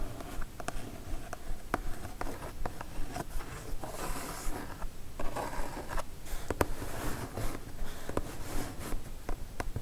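Long nails scratch and tap near the top of a kraft cardboard mailer box, producing dry, papery scraping with sharp, quick taps. The taps come in a loose, fairly steady rhythm over a low, rumbling base, each dying away almost instantly.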